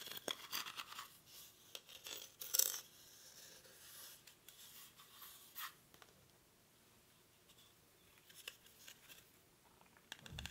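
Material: Rattan.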